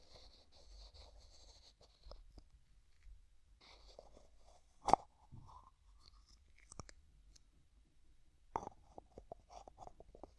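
Fingertips twist and rub the white plastic screw lid of a small, hollow, translucent pink plastic jar held in the other hand. Quiet, breathy scratching and rubbing is broken by one sharp click near the middle. A flurry of small, dry ticks and scrapes follows toward the end.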